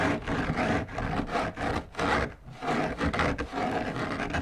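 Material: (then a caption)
Fabric. Fingertips and long nails scratch the outer surface of a large, hollow, drum-shaped lampshade with a white textured fabric covering, held upright on a table. Repeated dry, rasping scratch strokes rise and fall in steady bursts, with a soft, hollow, mid-range body and little bright hiss.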